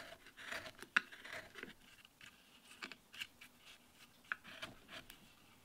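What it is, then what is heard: Wooden relief panel being carved. A steel chisel makes small scraping cuts into the surface of a solid wooden relief panel while carving a damask rose leaf. About a dozen short, dry, bright scrapes and snicks come in quick, uneven bursts over a quiet background, with one sharper click near the start.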